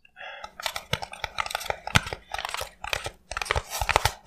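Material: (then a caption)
Polystyrene foam. Fingertips and nails tap and scratch along a small rectangular white foam block, apparently expanded polystyrene packaging, held in both hands. After a brief faint lead-in, dense bursts of dry, crackling taps and squeaky scratches follow in quick clusters, with a couple of short pauses. Each tap ends almost instantly with no ring.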